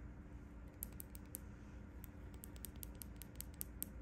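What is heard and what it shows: Long painted nails tap and scratch the embossed quilted front panel near the top of a closed, cream quilted faux leather handbag. Quiet, sharp, bright clicks and scratches come in an irregular patter over a soft, steady low rumble. Each tap dies away almost instantly.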